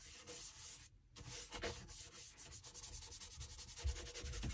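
A small bristle dauber brush scrubs applied liquid into the wet, solid leather outsole of a dress shoe held upside down. It makes quick, repeated scratchy rubbing strokes with a bright, hissy texture over a low rumble, pausing briefly near the first second before the brushing resumes more rapidly.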